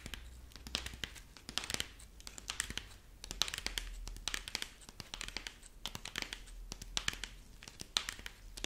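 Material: Corn husk.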